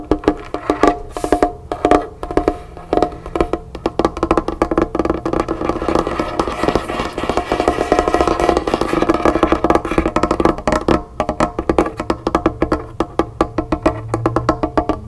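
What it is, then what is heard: Wooden tabletop. Long painted fingernails of both hands tap rapidly on a large, solid, bare polished dark wooden tabletop. The result is a dense, continuous patter of short, dry, woody clicks with a hollow tone around 700 Hz. Each tap dies away almost instantly, and there is little deep bass or bright top.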